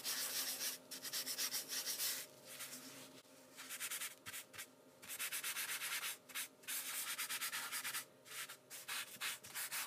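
A folded white tissue held in the fingers is rubbed back and forth over a pencil drawing on heavyweight sketching paper, which lies flat on a wooden table while the other hand holds the sheet down, to blend the shading. The result is bursts of soft, bright, hissy scrubbing strokes separated by short, quieter pauses.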